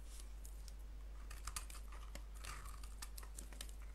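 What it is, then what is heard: Bar of soap scraped with a blade. A solid white soap bar with a blue rim is held in the palm and scraped with a blade. The result is a quiet run of short, bright scraping and crackling strokes, some smeared, over a steady low hum.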